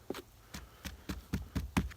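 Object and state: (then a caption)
Hollow dead tree trunk. A hand knocks on the trunk of an old, dead, woodpecker-riddled tree that is completely hollow inside up to where it broke. Each knock is a short, dull, low thud with a quick knocking attack and almost no ring, in a steady series. The trunk sounds hollow.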